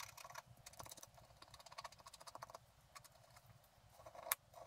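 A wooden stylus scratches the root area of a thin, flat, black-coated scratch art paper sheet, leaving visible flakes of scraped coating. Quick, dry, bright scratching ticks come in irregular bursts with almost no ring, followed by one sharper, louder scrape near the end.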